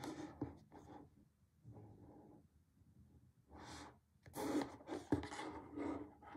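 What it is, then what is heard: Cardboard box. Fingertips rub and scratch along the yellow edge of a small, flat, closed printed cardboard retail box holding a BlackWeb glass screen protector for the iPhone SE 2.0, iPhone 7 or iPhone 8, held in the hand over a dark table. Soft, dry, papery scraping comes in irregular bursts with quiet gaps. Louder, brighter scratches with a few sharp ticks stand out near the end.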